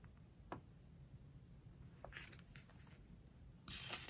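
A fingertip rubs across a glossy page of a book, giving soft, bright squeaks and brushing over a low, steady background hum. The page is then turned and smoothed down with a louder, crisp paper rustle at the end.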